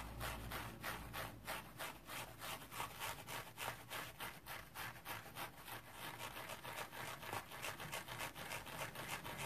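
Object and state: Dry metallic-fiber scrub sponge being scratched.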